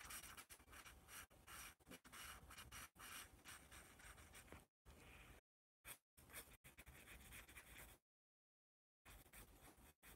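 A yellow pencil shades and rubs in fast strokes across a white paper sketch pad marked with a letter A. The result is dense, bright scratching with a soft low rumble underneath. It breaks off into several brief pauses and one longer silence before the strokes resume at the end.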